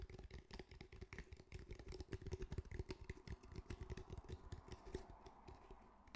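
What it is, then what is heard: Fabric-covered cylindrical speaker. Fingertips tap quickly on the fabric surface of a grey, fabric-covered cylindrical speaker with a hard, hollow body. The result is a rapid, uneven run of short, dull, low thuds that stop almost instantly, over a faint steady hum.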